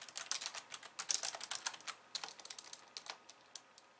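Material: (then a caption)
Plastic. Two hands with long nails type on a pink, slim plastic keyboard with white keys, producing a quick, uneven run of light, bright clicks and taps. Each keystroke is short and crisp with almost no low end, and the typing gradually softens toward the end.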